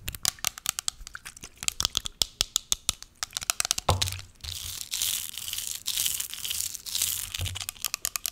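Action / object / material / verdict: tap / small plastic spray bottle / plastic / none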